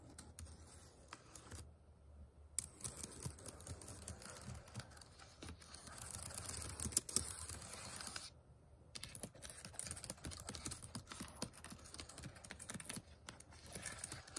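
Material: Plastic.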